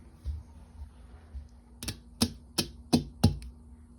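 Fingernails tap on finished gel nail tips that were glued on with UV gel, on the first hand done. There are six short, dry clicking taps, each a sharp bright tick over a soft low knock that dies away almost instantly. The tips are firmly bonded and very solid.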